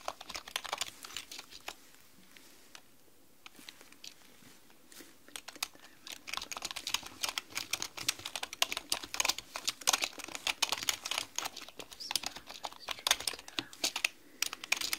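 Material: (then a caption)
Plastic. Steady two-handed typing with long nails and fingertips on a black mechanical keyboard with plastic keycaps produces a dense run of short, bright clicks and clacks. The typing pauses briefly around two to five seconds, then resumes faster and louder through the end.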